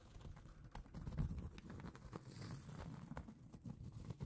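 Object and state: Round cork trivet.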